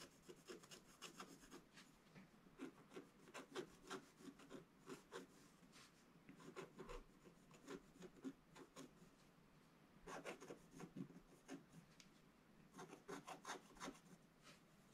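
A wooden stylus scratches the black coating near the bottom of a flat, solid scratch-art paper card. Short, dry rasping strokes come in quick bursts with brief pauses between them, with a bright, papery grit over a soft low body.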